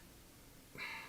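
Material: Nothing is struck.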